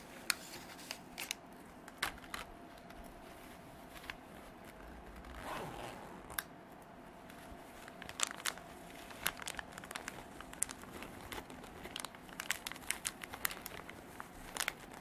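Long dark artificial nails scratch and crinkle a small, soft, cream canvas zippered pencil pouch that is hollow and nearly empty. Quiet, bright, dry crackles and sharp clicking taps come in irregular bursts, with a longer rustling swell near the middle. A faint steady tone hums underneath throughout.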